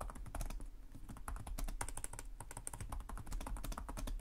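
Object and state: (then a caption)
Plastic laptop keyboard. Fingertips of both hands type rapidly and continuously on the low-profile plastic chiclet keys of a black laptop with a hollow body. Quick, dry key taps blur into a steady clatter, each with a soft low thump and a bright, short click.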